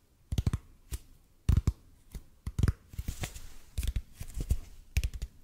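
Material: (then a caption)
EPP foam. Fingertips of both hands tap and scratch a large hollow red-and-white EPP bead foam roller held above the mic. Soft, dull, low thumps come in irregular quick clusters, with a brief brushy scratching between taps. Each tap dies away almost instantly.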